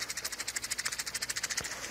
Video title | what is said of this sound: Coffee, from the tree to the cup small size | if you shake them you hear them rattling around inside their shell then they're kind of ready to go